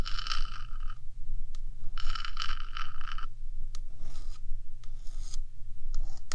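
One hand rubs and scratches the top and front face of the hollow, painted metal body of a 3Dio binaural microphone with long metallic nails. Bursts of bright, gritty scraping alternate with short, sharp ticks and taps over a steady low rumble.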